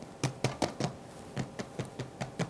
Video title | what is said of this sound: Best Sliceable Corned Beef (Not Stringy!) + A St. Patrick’s Day Recipe Marathon | tap on it so you can hear the lovely crust that's been created